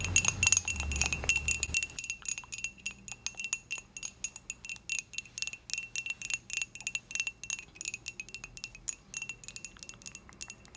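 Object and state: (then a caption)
Ceramic mug. Long acrylic nails tap quickly and unevenly on the outer wall of a small, dark-glazed, hollow ceramic mug held up in the air. Each tap is a sharp, bright click with a faint high ring that fades almost at once. A low rumble sits under the first two seconds before the tapping continues on its own.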